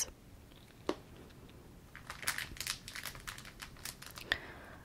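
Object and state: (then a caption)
Plastic-wrapped pack of card sleeves. Fingertips and nails tap and scratch across a small, flat pack of plastic card sleeves in a crinkly plastic wrapper resting on a cloth surface. Soft, bright crinkling and scraping build up after a quiet start, broken by sharp, short taps that stop almost instantly.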